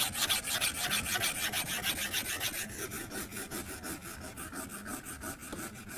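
A plastic stylus tip scribbles coloring strokes across the flat glass screen of an iPad tablet. The result is a steady, rhythmic back-and-forth scratching of about three strokes per second, with a bright, hissy rasp. The strokes soften slightly after the first few seconds.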